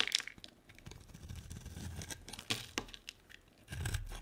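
A solid white bar of soap with a pink edge, held in the hand, is sliced into curls with a utility-knife blade. Crisp, bright scraping and crunching cuts come in quick bursts, with short dry clicks and no ring, over a low background rumble.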